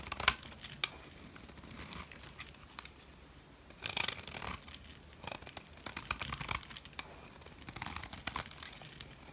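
A metal blade shaves the face and edge of a solid turquoise dry soap bar, possibly a Dalan bar, breaking chips off. Dry, bright scraping and crackling comes in short bursts of quick grainy strokes. Quieter gaps sit between the bursts.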